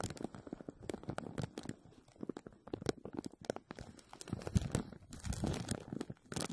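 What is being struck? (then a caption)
Thin plastic film over a metal wire mesh strainer. A clear thin plastic bag is stretched over an empty, hollow, dome-shaped wire mesh strainer. Both hands grip and press it with fingertips and short nails, crinkling and scratching the film against the mesh. The result is a dense run of quick, close crackles and scratches, mostly low and muffled with faint bright crisp edges.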